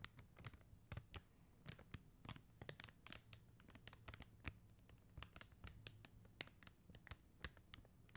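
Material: Plastic.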